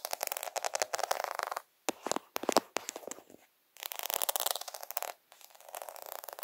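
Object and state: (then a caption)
Plastic faux pearl sticker sheet. Several fingertips rub and scratch across the bead rows of a plastic faux half-pearl sticker sheet. The result is dense bursts of quick, dry, clicky ticking and scraping with a bright edge and little low end, broken by a few brief silent pauses.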